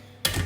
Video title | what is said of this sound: YEAR 8 - Soda bread | tap it on the bottom and it sounds hollow